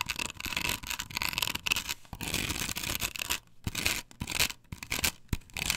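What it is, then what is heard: Plastic stencil on wooden board scratched. Long nails scratch and rub across a flat, perforated plastic stencil template glued to a wooden board. The result is a dense, bright, hissy scraping in bursts, some strokes harder and some gentler, separated by brief pauses.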